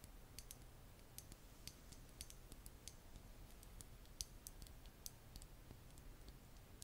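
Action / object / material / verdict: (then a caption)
tap / small glass nail polish bottle with plastic cap / glass / none. Long nails tap the black plastic cap and glass of a small glass nail polish bottle filled with red polish. The result is a quiet, irregular series of sharp, bright clicks over a steady low rumble.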